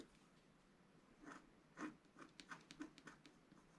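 A wooden stylus scratches lines into the black coating of a flat scratch-art card. Eight short, quiet scratching strokes are heard, each a brief dry rasp with bright, papery hiss over a low-mid body, separated by soft near-silence.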